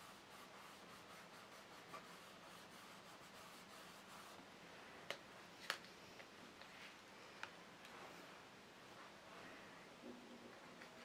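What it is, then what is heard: Graphite shading on a sketchbook page. A graphite stick held in the hand rubs and shades across a page of a spiral-bound paper sketchbook lying flat on a fabric-covered table while sketching a rose, with fingers touching the paper. Quiet, steady, bright scratchy shading strokes form a soft continuous hiss, broken by four sharper little taps that stand out above it.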